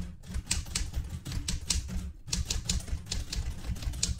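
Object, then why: Metal manual typewriter. Fingertips type on the keys of a vintage light blue portable manual typewriter with a metal body, and one hand reaches to the carriage return. Irregular keystrikes land as sharp clacks, each with a bright high snap over a low thump, decaying quickly between strikes.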